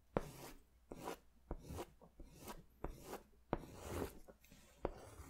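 An orange wax crayon or oil pastel is rubbed and scratched in quick strokes across a large white paper sketch pad held upright, its thin sheets on a firm backing. Seven sharp taps mark the starts of strokes, each followed by a soft, dry, raspy scrape that fades quickly, with quiet gaps between.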